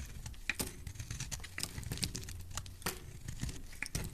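A solid white soap bar held in the hand is shaved with a utility knife blade. A quick series of short, crisp scraping strokes with bright crackling edges rises over a soft, low rumble. Each stroke ends almost instantly with no ring.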